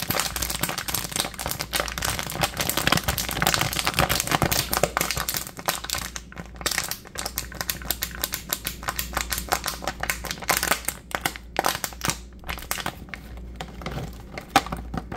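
A thin, clear, mostly empty plastic water bottle with its cap on is crushed and crinkled in the hands, producing a dense stream of sharp, bright crackles and snapping pops. The crackling is busiest early on and thins into more separated bursts toward the end, over a steady low hum.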